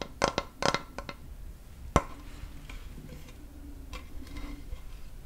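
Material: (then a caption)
Wood. A large, flat, solid wooden cutting board with a handle is held at an angle over a microphone and tapped and rubbed with fingertips and nails. A cluster of quick, dry, clicky taps opens the clip, followed by one sharper, louder tap near the two-second mark. Soft, quiet rubbing and light scratching follow, with each tap dying away almost instantly.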